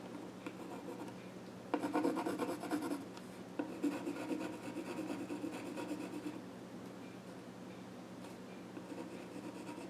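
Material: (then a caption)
Wood. A pencil scratches drawing strokes across the flat top of a small wooden child's stool. Quiet rubbing gives way to two louder stretches of rapid, uneven scraping, over a faint steady low hum. The strokes then fade back to soft, sparse rasps.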